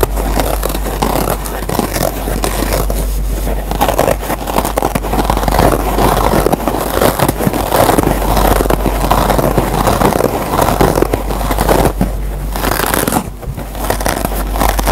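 Fingertips and nails scratch and pluck the green nylon scouring layer of a dry yellow foam kitchen sponge. The result is a steady, dense, rough scraping and crackling texture that stays loud throughout, with most of its energy in the low and low-mid range and little high end.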